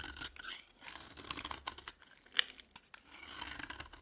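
A utility knife blade carves and scrapes the surface of a dry, cream-colored, palm-sized solid bar of soap, piling up flakes. The sound is a quiet, bright, dry scratching and rasping in bursts, with one sharper crisp snick partway through.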